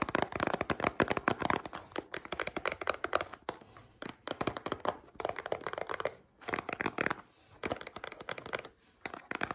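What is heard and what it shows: Long painted nails tap and scratch a small, hollow, printed cardboard cereal box standing on a table. Quick bursts of dry, crackly clicks and scratchy rustling come in clusters separated by brief pauses. The sound is mostly in the mid-range with little low end and no ring after each tap.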